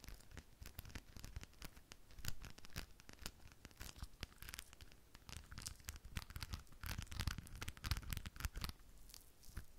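A rhinestone-covered decorative ball is held in one hand while long nails tap and scratch over its gems. Rapid, dry clicks and crisp scratches spread into bright highs over a soft, low thumping, with no ring after each tap.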